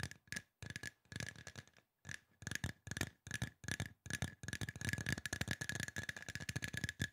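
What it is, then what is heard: Aluminum spray bottle. A hollow silver aluminum spray bottle with a trigger top is tapped quickly with fingertips and nails. Bursts of fast, dry clicks with short silent pauses become a near-continuous flurry, and a faint metallic tone sits around 1.7 kHz under bright, crisp ticks that die away instantly.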